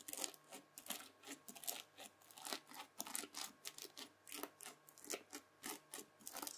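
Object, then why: Bead-filled floam slime pressed with a plastic fork. A white plastic fork presses rows of dents into red bead-filled floam slime on a table. Each press gives a short, bright, crunchy crackle as the beads pop and grind, in a steady run of quick bursts over a faint low hum.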